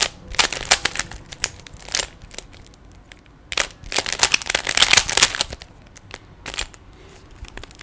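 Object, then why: Small hollow plastic puzzle cube. Fingertips turn the layers of a small hollow plastic 3x3 Rubik's cube, and a finger pushes one face, producing sharp, bright plastic clicks and short crackling rattles. The clicks come in irregular bursts, busiest near the start and again in the middle, with quieter gaps between.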